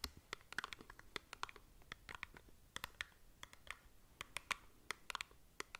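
Long nails scratch and tap across the faces and edges of a small, hollow cardboard cosmetic box held close to the mic. The result is a quick, irregular run of sharp, bright scratches and clicks, each ending almost at once, over a soft, papery hiss.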